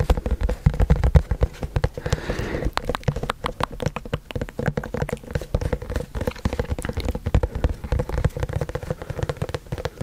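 A hollow, white printed cardboard product box is held in both hands and tapped and scratched with fingertips and nails close to the microphone. Rapid, continuous taps produce dull, low, hollow thuds that die away almost instantly, with a brief softer scratching passage around the two-second mark.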